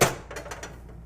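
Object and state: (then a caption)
Hollow-sounding, fully baked bread loaf. A hearth-baked bread loaf, fresh from the oven, is thumped on its bottom four times, giving short, dull, hollow drum-like knocks. The hollow sound shows the starches have set and the loaf is done.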